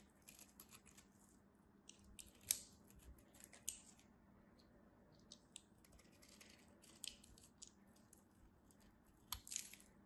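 A metal craft knife slices curls and flakes off the face of a solid cream soap bar held in hand. Quiet, crisp scraping and crackling sits mostly in the high range, with sharp bright peaks standing out near 2.5, 3.7, 7 and 9.3 seconds over a low steady hum.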